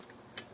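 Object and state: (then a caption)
Air conditioner condenser unit tapped with a tool. A Goodman air conditioner's condenser unit, not yet running, is tapped with a tool, producing a short, bright metallic tick with a faint rattle that dies away almost instantly. The single sharp click stands out against a quiet background.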